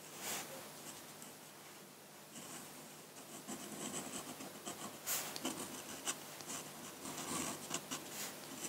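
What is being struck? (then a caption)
Steel-nib dip pen on drawing paper. A metal-nib dip pen with a wooden handle, held by the fingertips, scratches ink lines across a large flat sheet of drawing paper on a table, with the ink bottle left untouched at the side. Irregular dry, bright scratching strokes come in short bursts, growing busier and sharper in the second half.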